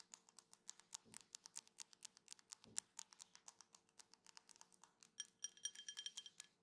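A drinking glass is tapped repeatedly in quick succession, giving a quiet run of bright, short clinks with almost no ring. Near the end the taps ring with a clearer glassy tone.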